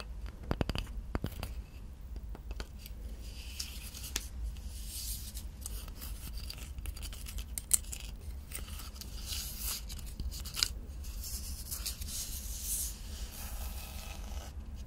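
Long fingernails scratch across the sanded surface and bark edge of a round, solid wood log slice held in both hands. A steady, bright, dry rasping runs throughout over a low hum, broken by a few sharper clicks and scrapes.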